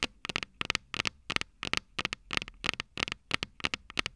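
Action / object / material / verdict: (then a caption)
tap / small metal microphone capsules on a handheld recorder / metal / none. Long purple nails tap and scratch the small, hollow, silver metal microphone capsules of a Tascam DR-05 recorder. Quick clusters of sharp, bright clicks with a tinny ring near 2.8 kHz come about three times a second in an uneven rhythm, each dying away almost instantly, with quiet scratchy noise between them.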